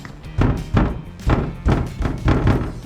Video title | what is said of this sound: 이걸 모르고 혼다 어코드 하이브리드 샀다가 후회합니다 - 중고차 구매대행 | 이 안쪽에 어떤 부품에 뭔가 이 처리가 제대로 고정이 되지 않은 것 같아요